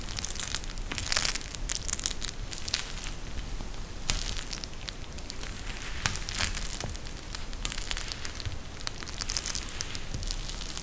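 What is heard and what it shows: A pink eye mask with a clear plastic shell filled with gel beads and fabric edging is held in both hands and squeezed with the fingertips. It gives a steady run of dense, bright crackling and crinkling with sharp high clicks over a low rumble.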